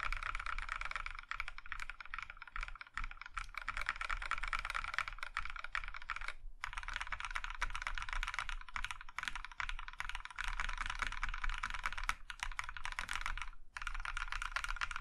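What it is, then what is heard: Mechanical keyboard with plastic keycaps. A compact Iron165 mechanical keyboard in a maroon metal case with cream plastic keycaps is typed on by one hand, with fingertips pressing the keys one by one, including the larger keys. The result is a steady stream of short, crisp plastic clacks with a bright midrange click, broken by brief pauses around 6.5 and 13.7 seconds.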